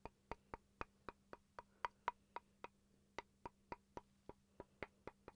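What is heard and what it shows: A small solid wooden chopping board, held in front of the face, is tapped with fingertips and nails in a steady series of 20 quiet, dry knocks. Each knock has a hollow, woody tone around 960 Hz that dies away almost at once, over a faint low hum.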